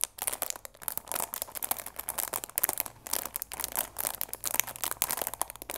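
Long nails and fingertips rub and crinkle the clear plastic film wrapped around a cardboard chamomile tea box. A steady stream of dense, bright, crackly crinkles fills the clip, with quick sharp bursts and almost no low end.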